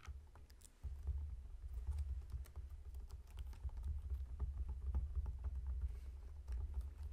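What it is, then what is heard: Whole pineapple. Fingertips tap quickly and irregularly on the scaly rind of a whole, solid pineapple lying on a table, while a palm rubs across the rind. Short, dry clicks stand out over a steady, soft low rumble from the rubbing. Each tap dies away almost at once.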